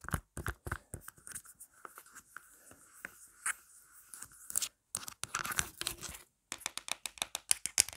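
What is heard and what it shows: Long black nails on both hands tap and scratch a marble-print plastic phone case lying flat. The result is a fast run of sharp, bright, dry clicks mixed with rasping scratches, with two brief gaps of silence.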